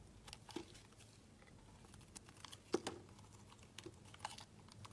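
A solid pink-white marbled oval soap bar held in the hand is shaved with a utility knife, peeling off long curls. Quiet, dry scraping comes with a scattering of short, crisp ticks and crackles, a few sharper snaps standing out over a soft, steady hiss.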